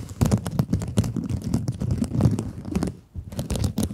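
Long acrylic nails scratch across the glittery mesh surface of a small pink scrub sponge, making a dense, rapid run of close, muffled rasps with a low, thumpy body. The scratching continues in quick strokes, pauses briefly near the three-second mark, then resumes.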